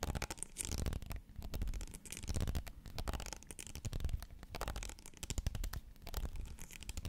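Fingernails scratch the ribs of a tall pink ridged plastic bottle held upright beside the mic. The result is a dense, uneven run of quick scratchy clicks and rasps over a heavy low rumble, with bright crackle throughout.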